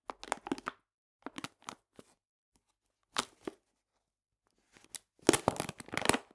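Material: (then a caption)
Paper. A full paper cane sugar bag is scratched with fingernails in short, dry crinkly bursts separated by pauses. It is then laid on its side and squeezed by hand, giving a louder, denser run of papery crunching with bright, crackly edges.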